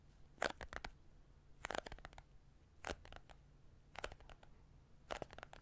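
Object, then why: Small cardboard case. Fingertips and nails tap and scratch a small printed cardboard card case, likely hollow, held in both hands close to the microphone. Five short bursts of quick, dry taps and crunchy scratches stop dead with no ring, over a faint low hum.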